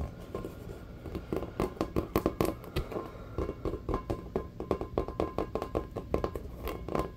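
A full-size, hollow, inflated rubber basketball with a checkered pattern is held in both hands and tapped quickly with the fingertips. The result is a rapid, uneven run of soft, dull taps with a hollow, low-mid tone around 320 Hz. Each tap dies away almost at once, with faint background hiss between them.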